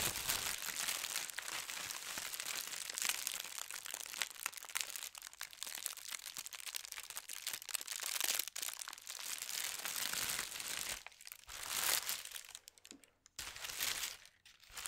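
Thin white tissue paper printed with gold stars is crumpled and rubbed by fingers with long red nails. A steady, bright crinkling and rustling runs throughout, with almost no low end. Toward the end it thins into softer bursts separated by brief quiet gaps.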